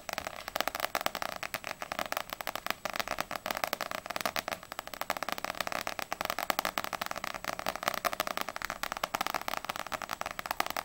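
Long nails tap quickly on the glossy paper front cover of a small, solid paperback manga, Ousama Game volume 2, held in both hands, before the book is tilted. A dense, steady stream of rapid, dry clicking taps with a bright, crisp edge, almost no low end, and no ring after each hit.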